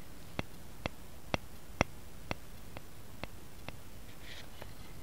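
A light, solid wooden rice paddle with a long handle, laid on a mat, is tapped and scratched with fingertips and nails. About eight sharp, dry taps come at an uneven, unhurried pace, each one clicky with almost no ring. A brief, brighter scratching sound follows near the end over a quiet hiss.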